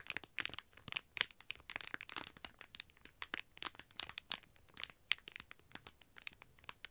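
Fingertips and nails scratch and press a flat, thin, shiny plastic retail bag with an iBloom mini Sanrio toast squishy toy sealed inside, lying on a white table. The sound is a quiet, steady run of bright, dry crinkles and sharp crackles with no low end and no ring after each touch.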